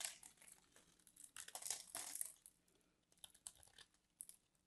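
A metal craft knife scrapes and carves the surface of a palm-sized solid white bar of soap held in a hand with long manicured nails. The result is a run of bright, crisp crinkling and crunching scrapes in uneven bursts. Louder passages fall in the middle and smaller flicks come near the end.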